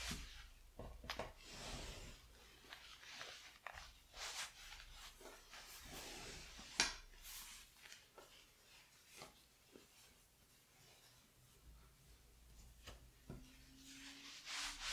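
Fingertips with painted nails rub and smooth the surface of a large brown woven drape with a retro circle pattern as it is folded flat on a yellow table, with an unused iron nearby. Soft, bright brushing and rustling swishes come and go, with one sharper scratch near the middle. A faint low hum rises in the last few seconds.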